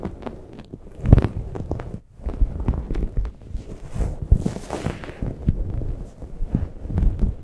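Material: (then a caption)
Microfiber. A grey microfiber towel wrapped over a Blue Yeti microphone is rubbed and scratched with long nails, at both fast and slow paces. It makes a dense stream of muffled, low, thumping scratches and brushing rustles with very little brightness, which pause briefly about two seconds in before continuing.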